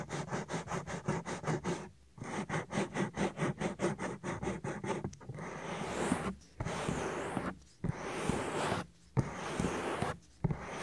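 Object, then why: Silicone microphone ear. A flat hand and fingers rub across the whole soft, solid silicone ear of a 3Dio binaural microphone. First comes a quick run of short, rhythmic brushing strokes with a brief pause partway through. These give way to longer, steady rubbing passes separated by short gaps, all heard as a close, muffled, low-heavy scraping.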